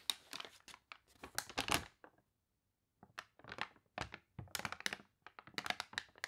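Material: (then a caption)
Paper. Fingernails scratch the wavy pages of a water-warped paper toy catalog, and the pages are turned. Short, bright, crinkly scratching and rustling bursts come in quick clusters, broken by a silent pause of about a second before the crinkling resumes.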